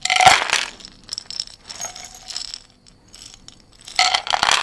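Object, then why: Small glass jar with dried herbs. A small glass jar of dried herbs with a white lid is shaken and tilted by hand close to the mic. Bright rattling, clinking bursts with a glassy ring near 770 Hz come loudest at the start, fade to softer shuffling rustles in the middle, and swell again into loud rattling at the end.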